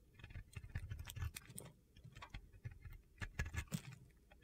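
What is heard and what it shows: A metal utility blade scrapes flakes from the surface of a solid white soap bar held in the hand. Quick, dry scraping strokes come in uneven bursts, each with a soft low thud under a brief gritty, crackling hiss that reaches up into the high range.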